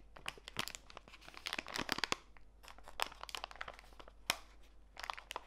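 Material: Plastic.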